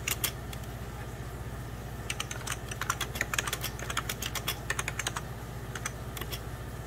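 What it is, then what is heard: Plastic computer keyboard. Fingertips of both hands type on a hollow, beige 1990s Packard Bell plastic computer keyboard, producing quick, bright, clicky key taps over a steady low hum. A few taps at the start give way to a brief lull, then a dense run of typing and a sparser scatter of keystrokes toward the end.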